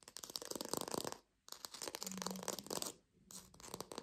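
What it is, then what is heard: Artificial plastic lime. A small, palm-size green artificial plastic lime is held in both hands and tapped and scratched quickly with long pink acrylic nails. Dense, crisp, bright clicks and scratchy rustling come in three bursts, separated by two short pauses. Each tap ends almost instantly with no ring.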